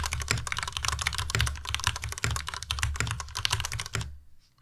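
Both hands type with their fingertips on a white Ducky Miya Pro tenkeyless mechanical keyboard with plastic keycaps. The result is a fast, steady run of clacky keystrokes with bright clicks over a deeper thocking body. The typing stops just before the end, leaving brief near-silence.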